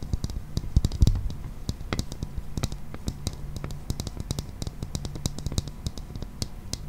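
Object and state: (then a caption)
Clear plastic toy ball. A hollow, transparent, hand-sized plastic toy ball with a green toy inside is held in both hands and tapped rapidly with fingernails. The result is a dense, irregular stream of short, dry clicks with bright ticking tops over a low, steady hum, plus a slightly louder cluster of taps near the one-second mark.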